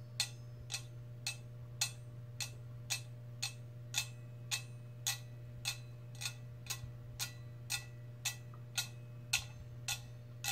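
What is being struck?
Metal cup.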